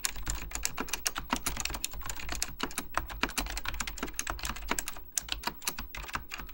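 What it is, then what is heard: Mechanical plastic computer keyboard. Fingertips type continuously on a beige plastic full-size Apple Extended Keyboard II, its hollow plastic keycaps clacking down over mechanical switches. Rapid, sharp, bright key clicks come in quick irregular succession, each decaying almost instantly, over a steady low hum.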